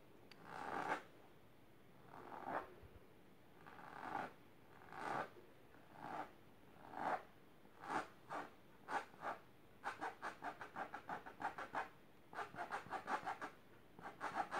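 Long silver nails scratch fast across the fabric of a large, pink, patterned, fabric-covered storage box or ottoman that is rigid and likely hollow. It starts as slow, separate raspy strokes and speeds into quick bursts of dry, mid-pitched scratching with a brief hollow tone.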